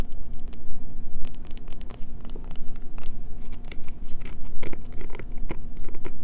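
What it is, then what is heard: Bar soap scratched with fingernails. Fingernails scratch and rasp the face and edge of a solid, pale green bar of soap held in one hand, scraping off shavings that fall away. The clip is a fast, dense run of dry, bright scraping and crackling strokes over a steady low hum.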